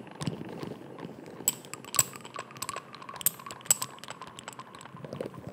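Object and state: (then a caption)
Amber glass dropper bottle. Fingertips and nails tap and scratch a small amber (brown) glass dropper bottle with a white dropper cap, held close to the microphone. Irregular, quick, bright clicks and glassy ticks stand out over a soft scratching hiss, with a few sharper taps giving brief high glassy pings that die away almost instantly.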